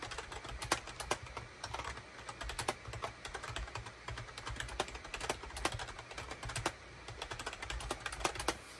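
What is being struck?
Plastic computer keyboard.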